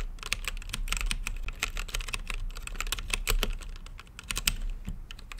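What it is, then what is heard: Plastic mechanical keyboard with acrylic case. A mechanical keyboard with plastic keycaps on a translucent acrylic case is typed on continuously with fingertips. The result is a rapid, steady stream of short, sharp clicks with a bright top and a low thud underneath.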